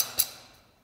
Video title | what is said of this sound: Begadi Sport MOD25 "Burk BR10" S-AEG mit Begadi CORE EFCS / Mosfet | Das ist massiver Stahl, wenn ich dagegen klopfe. Also die Gasabnahme rüttelt dann, aber das ist halt einfach Stahl.